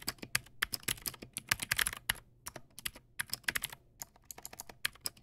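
Fingertips type on a Teamwolf Zhuque+ X08 backlit mechanical keyboard with white plastic keycaps and clicky blue switches. About thirty sharp, bright clicks land in a quick, uneven rhythm, each dying away almost instantly, with brief pauses between bursts.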